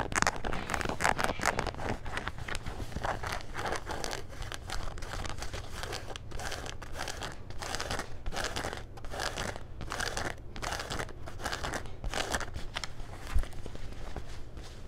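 Fingernails scratch gray denim jean shorts across the waistband, back pocket and button fly, making rapid, dry, crinkly scraping strokes with bright, rough texture. A steady low hum runs underneath throughout, and a single sharper click stands out near the end.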